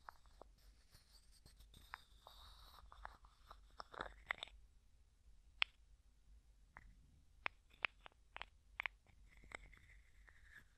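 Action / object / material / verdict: tap / small clear plastic jar with plastic screw lid / plastic / none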